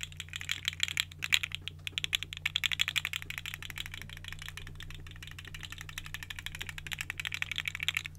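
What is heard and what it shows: A small, hollow, colorful segmented plastic articulated fidget slug toy is dangled and wiggled close to the mic by fingertips with long nails. Its plastic segments give off rapid, bright, dry clicks and rattles in uneven bursts over a faint, steady low hum.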